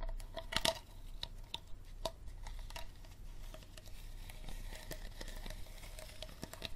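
Fingernails tap and scratch the body and label of an empty, hollow clear plastic water bottle with a green plastic cap. The result is a run of quick, dry clicks with a faint ringing tone around 650 Hz, mixed with a soft, bright crinkling scratch. Several louder taps stand out early on, followed by a steady, low-level patter.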